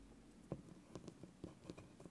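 A small, hollow orange spiky rubber massage ball is squeezed and rubbed by the fingertips of both hands while held over a bamboo board. About seven soft, dull, low thumps and squeaky rubber pops stand out over a quiet, crackly rustle. Each one dies away almost at once.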